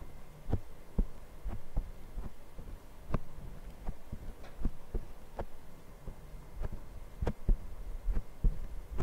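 Fingertips of both hands tap and scratch a small, soft black foam windscreen on a Zoom recorder mic. The result is a series of deep, muffled thumps with very short decay, layered over a soft scratchy rustle and a steady low hum.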